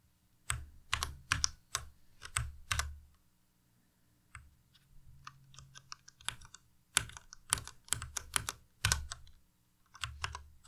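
A white plastic Ducky Miya Pro tenkeyless mechanical keyboard with Cherry MX Red switches is tapped sparsely by fingertips pressing individual keys and the arrow keys. Each press gives a short, bright plastic clack over a low thock that dies away almost instantly. Clusters of louder keystrokes sit on either side of a softer, quieter stretch in the middle.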